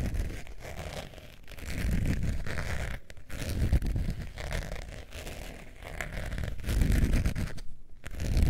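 Long nails scratch the face of a long beige textured faux leather zip wallet held above fur. The result is a steady, dull, low scraping and rustling that swells and fades in waves, broken by a few brief quiet gaps.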